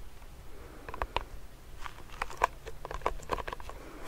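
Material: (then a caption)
Plastic. Fingernails tap quickly on the side of a medium clear plastic hand sanitizer pump bottle filled with gel. The result is a series of short, crisp, hollow plastic clicks with a tonal ring near 1 kHz, landing at uneven intervals over a quiet, low background rumble.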